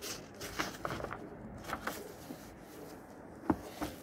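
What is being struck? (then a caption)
Old paper book. Fingers lift the yellowed paper pages of an old book from 1948 and flip them over quickly. Soft paper rustle and flutter are broken by short, crisp snaps as each page turns over.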